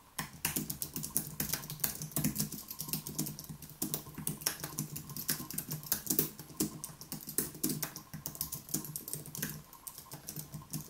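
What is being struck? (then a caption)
Low-profile keyboard with plastic keys. Fingertips of both hands rapidly type on a white Apple Magic Keyboard, an aluminium keyboard with plastic keys, resting on a wooden desk. A dense, steady stream of short, dry, bright key clicks is heard, each tap dying away almost at once, with occasional slightly louder strikes.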